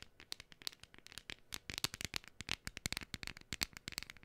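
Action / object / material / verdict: tap / thin printed cardstock cutout / cardstock / none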